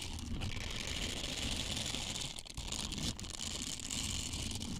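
Small, flexible, hollow blue silicone scrubbers with bristles and a loop are bent and rubbed with the fingertips right next to the microphone. The result is a steady, close-up rustling and crinkling texture with a soft low rumble and bright, hissy detail, with only brief dips in loudness along the way.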